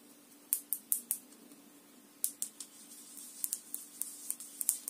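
Long nails tap and scratch the orange lid and the glass of a small clear glass jar filled with pale powder, held in one hand. Fifteen sharp, bright, dry clicks come in short bursts, with faint scratching and a low steady hum underneath.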